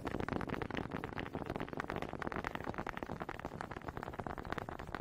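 Long pink fingernails quickly tap and scratch the ridges of a small, solid wooden honey dipper held close in front of a microphone. The result is a dense, fast, somewhat irregular stream of dry, short clicks and scratchy rasps that stop almost instantly, with no ringing.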